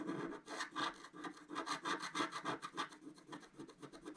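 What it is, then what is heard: Scratch art card being scratched. A wooden stylus scratches and rubs the black coating off a flat scratch art paper card, about A4 in size, resting on a table. Quick, uneven back-and-forth strokes produce a dry, papery rasping with a bright, hissy edge and almost no low end.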